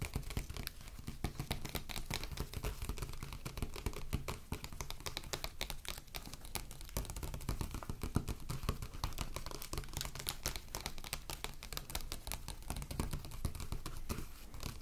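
Long acrylic nails rapidly tap and scratch the cover of a closed glossy paper magazine lying flat on a wooden table. A quiet, steady stream of short, dry clicks and papery scratches runs throughout, with a soft low thump under each tap and a bright crackle on top. Each sound dies away almost instantly.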